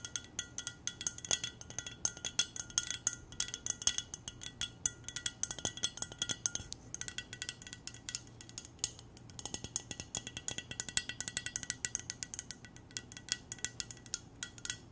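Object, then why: Glass mug. A clear glass mug with silver decoration, hollow and apparently empty, is held in both hands and tapped rapidly with long nails. Quick, bright, high clinks follow one another almost without pause, each dying away almost at once over a faint low steady hum.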